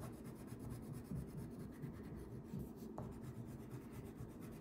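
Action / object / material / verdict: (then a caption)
scrape / wax crayon on thin paper over a wooden table / paper / none. A thin paper coloring page lying flat on a wooden table is rubbed continuously with a yellow wax crayon held in the fingertips to color in a fish. The result is a soft, steady, low scratchy rubbing with faint rhythmic strokes and no distinct hits.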